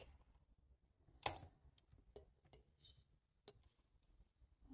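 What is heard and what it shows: A black, low-profile plastic computer keyboard with a hollow body sits on a table and is typed on with the fingertips of one hand. Soft, scattered key taps click over a quiet background, with one sharp, louder tap standing out early. The taps are brief and bright with a short, dry decay.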